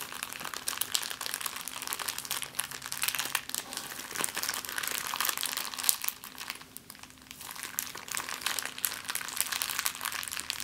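An empty clear plastic bag is balled up and crinkled in the hands, giving a dense, continuous stream of bright, crackling rustles with almost no low end. The crinkling stays steady for about ten seconds, easing briefly around the seven-second mark before picking up again, over a faint steady hum.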